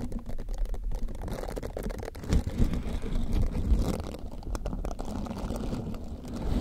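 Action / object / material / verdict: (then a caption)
scrape / silicone scrubber sponge / silicone / none. A green silicone scrubber sponge is curved over the microphone while fingertips rub and squeeze its dense silicone bristles. The result is a close, muffled, continuous rustling and rumbling that sits almost entirely in the low range, with soft scratchy crackles and a few louder swells along the way.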